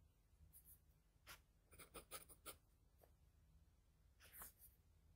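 The graphite tip of a wooden pencil scratches across a flat sheet of drawing paper in light shading strokes. Quiet, brief, bright scratchy strokes come in irregular bursts over a soft low background hum.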